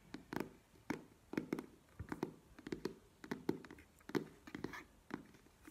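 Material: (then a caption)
Plastic. A plastic squeeze tube of cream is held and turned in the hands while long nails tap on its cap and body. The result is a quiet, irregular series of short, dry plastic taps and clicks that stop dead with no ring, with faint handling rustle between them.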